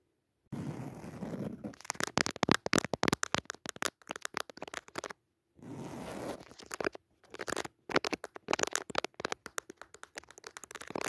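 Long natural nails scratch across the textured weave of a soft, padded white woven jacquard fabric cushion with a red leaf pattern. Each of two passes opens with a steady, soft rasping scratch, then breaks into a rapid run of sharp, crisp, crackly strokes that ring out instantly. A brief silence separates the two passes.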